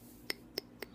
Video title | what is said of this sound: Paca Craws VS. Chigger Craws | what's cool about a Paca Craw is it's hollow. Hear that? It's hollow.